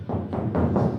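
Four raps on the steel roof of a 1968 Camaro, coated with rubberized undercoating outside and sound-control coating inside, give dull, low thumps centred near 125 Hz with no bright content and a very short ring. The panel now sounds dead instead of resonating and vibrating as it did before, showing the sound deadening worked.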